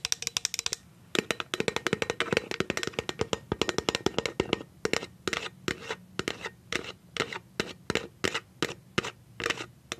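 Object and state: Plastic jar lid tapped with nails.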